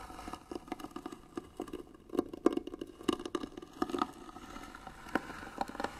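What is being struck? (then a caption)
Wooden box. Rapid fingernail scratching on the lid of a hollow white wooden box makes a dense run of short, dry scrapes and ticks, many sharp onsets packed closely together. Each stroke is brief with almost no ring, and the sound centers in a hollow low-mid tone.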